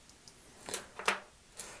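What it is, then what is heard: Genuine plastic watch, tight fit. A genuine Casio F-91W digital watch with a plastic case is tapped five times, producing short, dry, bright clicks with almost no ring or low end. The tight-fitting case sounds solid and normal.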